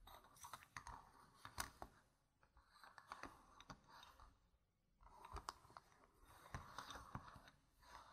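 Long red nails tap and scratch the faces of small, solid, round plastic game gem tokens scattered on a fabric mat. Soft, sharp clicks land over a bright, scratchy rustle in two quiet stretches, separated by a brief near-silent pause in the middle.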